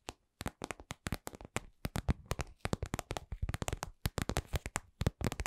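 A lip-shaped, glossy red patent vinyl cosmetic pouch, soft and hollow, is held in both hands and tapped and scratched with long acrylic nails. The result is a steady run of quick, dry taps with soft, hollow low thumps and bright clicky edges. Each tap dies away almost at once, with faint scratchy rustling between them.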